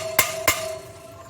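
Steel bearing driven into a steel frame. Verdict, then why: Seated. Two sharp, bright metallic taps land on a steel steering stem bearing seated in the frame of a TRX450R quad, each with a higher, changed pitch and a faint lingering ring. These are extra taps after the bearing has bottomed out; it is fully seated, confirmed by the visible circlip groove.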